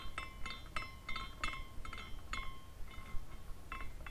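A small clear glass carousel ornament spins after a turn of the fingertips, and its glass horses tinkle and clink against each other. About ten light, bright clinks ring out at an uneven rhythm, each with a faint tone near 1 kHz that dies away almost instantly. A steady low rumble sits underneath.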